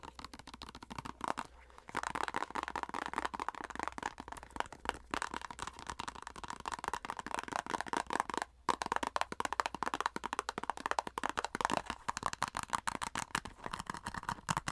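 Long acrylic nails rapidly scratch and tap the back and crimped end of a flat plastic cosmetic squeeze tube. The result is a dense stream of sharp, dry clicks and scrapes with a papery mid-range tone, broken by two brief pauses.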